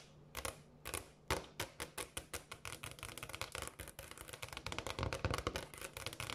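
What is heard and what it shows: Long dark-painted fingernails quickly tap and scratch a flat, solid, speckled granite kitchen countertop. Sharp, bright clicks start spaced out, then speed into a dense, rapid patter mixed with scratchy scraping, each tap dying away almost at once.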